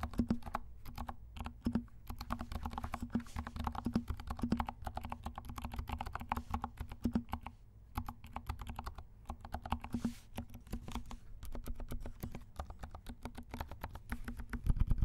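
Both hands type rapidly with their fingertips on a compact 68-key DK68 mechanical keyboard with black and pink plastic keycaps, dampened silent switches and a small hollow case. The result is a dense, continuous stream of soft, muted, thuddy key taps that are mostly low in tone and die away almost instantly. A faint steady low hum sits underneath throughout.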